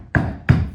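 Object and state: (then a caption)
Hollow-sounding wooden subfloor. Two knocks on a painted wooden subfloor that sits higher in one spot than another give dull, low thuds centered around 80 Hz that ring briefly. The floor sounds hollow at a spot with a distinct depression.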